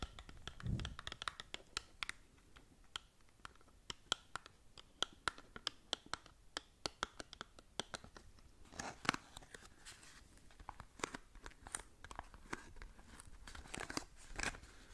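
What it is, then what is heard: Cardboard cosmetic box. Long nails scratch and tap along the faces and edges of a small, hollow cardboard cosmetic box held close to the mic. The result is a steady run of dry, crisp scrapes and sharp clicks that die away instantly, bright and papery, with a soft low thump near the start.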